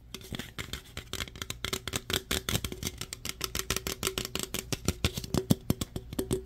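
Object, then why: Opened aluminum drink can. An opened, hollow aluminum root beer can is tapped and scratched on its sides and top with fingernails. The result is a rapid run of short, dry metallic clicks and scrapes over a faint low hum. Each click is broadband, with a bright edge and almost no ring.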